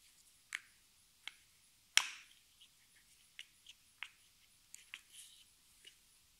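A hollow, partly filled pink plastic cream tube with a white plastic cap is turned in the hands and tapped with long nails, and the cap may be clicked. Sharp, bright, dry ticks sound at uneven intervals against near silence, with almost no low end. The loudest, slightly longer click comes at about two seconds.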